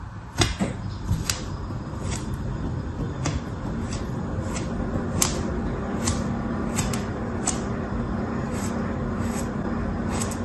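A thin red plastic tool held in the hand scratches repeated grooves into the surface of a solid, molded dark red kinetic sand shape. Short, bright, dry scraping strokes recur through the clip over a steady low background rumble.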